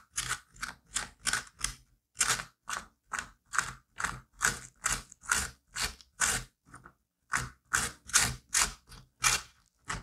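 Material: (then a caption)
Pumpkin flesh. A curette scrapes the fibrous cavity wall of an emptied squash half with stringy inner flesh, making about 22 short, bright, wet scraping strokes at a steady pace. The rasps are crunchy and moist, with a brief pause near the seven-second mark before the scraping resumes.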